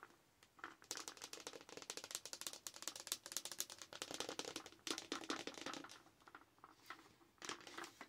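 Long nails tap and scratch across a large, hollow, empty frosted plastic Starbucks cold cup decorated with Halloween decals. The result is a rapid stream of bright, dry clicks and scrapes with almost no low end and no ring. The sound comes in dense bursts separated by brief quieter pauses.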